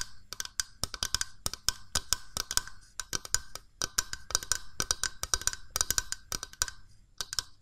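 Long nails tap rapidly and irregularly on the body of a small, hollow, cream-coloured plastic mooncake press mold with a spring plunger, held in the hands. Each tap is a sharp, dry, bright click that dies away almost instantly, with almost no low end.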